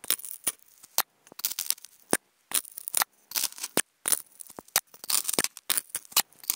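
Wooden toothpicks scratch a hollow, octagonal white polystyrene foam food container in quick, uneven bursts. Each stroke gives a dry, bright, squeaky scrape with almost no low end and no ring, stopping dead between gestures.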